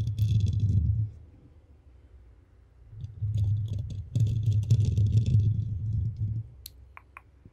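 Long painted acrylic nails on both hands scratch and rub a black foam windscreen covering a microphone head. The result is bursts of dense, low, muffled rumbling friction with quick clicky scratching onsets and faint bright crackle on top. The bursts are separated by quiet gaps, and a few sharp bright ticks sound near the end.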